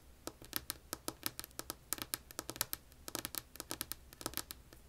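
Long polished nails tap and scratch a flat, solid, light wood-grain wooden tabletop. About 28 quick, bright clicks with very short decay come in an uneven rhythm over a low, quiet background hum.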